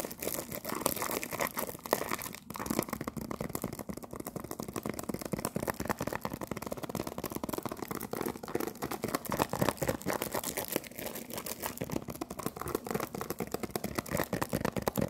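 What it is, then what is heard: Cellophane-wrapped cardboard tea box. A cellophane-wrapped cardboard tea box, held in both hands, is scratched and tapped with fingernails. A dense, steady stream of crinkly scratching and rapid light taps continues throughout, with a bright, papery texture.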